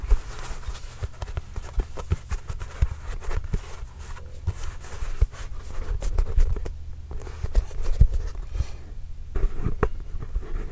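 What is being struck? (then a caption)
Composite leather basketball. A hollow, inflated Spalding NBA Grip Control full-size composite leather basketball is tapped with fingertips and scratched with nails. A steady stream of soft, deep, hollow thumps that die away almost at once mixes with dry, scratchy rasps across the surface.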